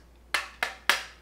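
Three sharp, bright knocks as the metal body of a toy gun is banged on to show it is metal rather than plastic. Each hit is short and clicky with most energy in the upper range and only a brief ring before fading.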